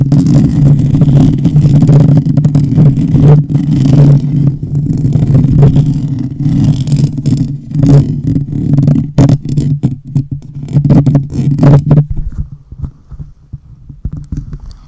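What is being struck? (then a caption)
Metal mesh microphone grille. Fingertips and nails scratch the hollow metal mesh grille of a black condenser microphone, ending with the hands cupped and rubbing over the grille. The result is a loud, dense, scraping rumble dominated by deep, boomy low tones with a steady low drone underneath and scattered sharp clicks. After about 12 seconds it drops to softer, sparser rubbing.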